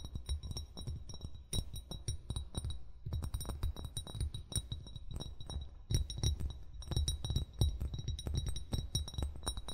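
Fingertips and nails tap and clink on a hollow brown glass wine bottle near its base, close to the recorder, as the hands move around the bottle. A rapid, steady stream of short taps gives deep, hollow thumps with bright glassy clinks on top, each one dying away almost at once.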